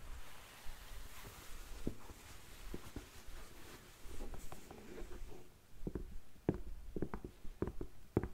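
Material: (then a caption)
Suede. Long nails scratch and tap along the suede shaft and toe of a tall, empty black suede boot held up by hand. Quiet, soft, muffled scratching with low hollow thumps comes first, then sharper, short taps stand out in the second half.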